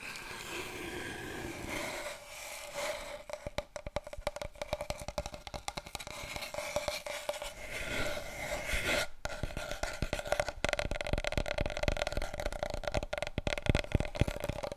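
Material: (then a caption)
Cardboard. Long fingernails rub and scratch along a large, long, hollow brown cardboard tube with spiral seams, held horizontally and then vertically. Dense, dry scraping and rasping fill the clip, with rapid short clicks and ticks that grow louder and busier in the second half. A low, hollow body sits beneath the steady hiss of the scratches.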